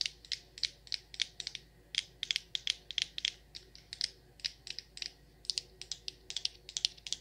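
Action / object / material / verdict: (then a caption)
tap / frosted glass candle jar with glass lid, filled with wax / glass / none. Long nails tap the glass lid and the sides of a frosted glass candle jar full of wax, in a quick, irregular run of dozens of sharp, distinct clicks. Each tap is bright and high-pitched, and dies away almost instantly with no low-end body.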